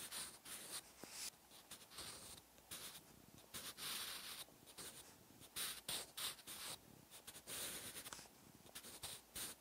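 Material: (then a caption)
Paper. A wooden graphite pencil held in the fingertips writes Korean text on a thin white page of an open paper notebook resting on a solid backing. The tip scratches steadily across the paper in quiet, bright, hissing bursts of strokes with short pauses between them, at an uneven rhythm.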